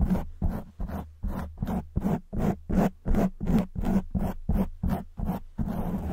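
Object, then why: Foam microphone windscreen. Long white acrylic nails of both hands scratch a soft, porous black open-cell foam windscreen fitted over a silver condenser microphone. Sixteen quick, rough scratching bursts come in a steady rhythm, each a low, muffled rasp with a hum near 200 Hz that cuts off fast.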